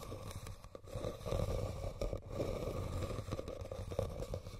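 Fingernails scratch and tap on a hollow, red woven rattan basket, producing a continuous dry, crackly scraping with soft, muffled taps mixed in. The sound is mostly low and dull, with little high-end brightness and almost no ring after each tap.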